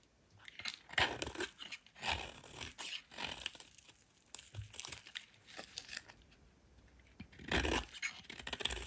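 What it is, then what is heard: Soap bar being shaved. A solid white soap bar, partly carved down, is shaved with a metal utility knife blade. Repeated dry, crisp scraping and peeling strokes come in bursts with bright, tearing texture and quiet pauses between them.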